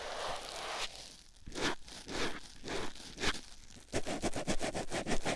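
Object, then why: Foam sponge on silicone ear microphone. A white rectangular foam sponge block, held in the fingertips, is rubbed against a silicone ear microphone. A steady, bright rustle gives way to slower, separate soft swishes, then a quick run of short, scratchy rubs with a low, close muffled thump beneath them.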